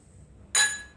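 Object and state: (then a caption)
Drinking glass partly filled with water. A drinking glass partly filled with water is tapped twice, giving a bright, clear ring with a steady tone around 1.8 kHz and higher overtones. The first tap rings out and fades over about half a second, and the second tap cuts off at the end of the clip.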